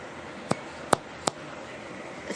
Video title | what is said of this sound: Honey Wheat No Knead Bread Recipe | you should have that nice Hollow sound when you thump it